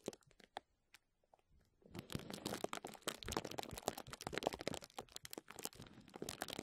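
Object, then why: Plastic bubble wrap. Crumpled clear plastic bubble wrap lying over a microphone is squeezed and scratched by the fingertips of both hands. A few sparse, separate crinkles and snaps open the clip, then it swells into dense, continuous crackling and crunching with bright, sharp edges.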